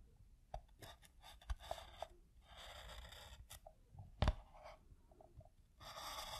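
A black pen tip is dragged along the stitched edge of a piece of tan pebble-grain leather, held by fingertips, drawing a second line. It makes quiet, dry scratching and scraping strokes in bursts, with a few sharper ticks and a louder stroke near the end.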